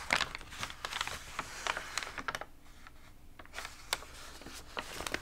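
Fingertips rub and press the warped pages of an open, water-damaged glossy paper magazine, then lift a page edge to turn it. Bright, dry crinkles and short papery taps come in uneven bursts, with a quieter soft rustle midway before the crackling picks up again.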